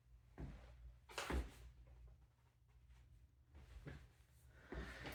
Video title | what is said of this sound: 2413 Pine St - Part 1 | So knocking on this wall here, it definitely sounds hollow to me.